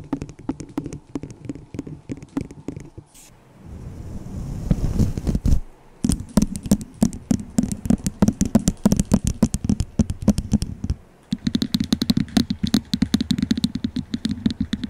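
Long nails tap and scratch a small, hollow, empty white disposable plastic cup held over the microphone. Rapid, uneven bursts of tapping produce short, dry, hollow knocks with a low body around 190 Hz. Around the fourth and fifth seconds, the tapping gives way to a rougher scratching swell before the quick clicking resumes.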